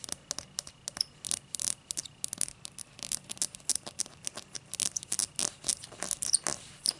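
Long matte dark nails scratch the thick cut base of an empty, hollow, clear cut-crystal tall glass. The result is a rapid run of short, bright, scratchy clicks and rasps with almost no low end, over a faint steady background tone.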